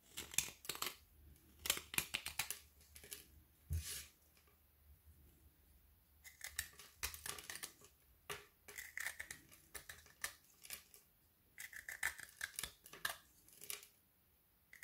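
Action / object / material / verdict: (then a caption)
scrape / frozen white chocolate bar with candy pieces / chocolate / none. A kitchen knife blade shaves fine curls from a small solid piece of frozen white chocolate with candy dragees held between the fingers, while the rest of the bar lies untouched nearby. Rapid, dry, bright scraping clicks and crisp crackles come in bursts separated by short quiet pauses.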